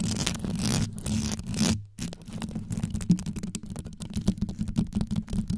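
Long yellow nails rapidly scrape and scratch across the stones on the top and sides of a hollow, rhinestone-covered metal microphone grille. The result is a dense, low, rumbly scratching texture with fast clicky ticks throughout. There is a brief near-silent gap just before the two-second mark.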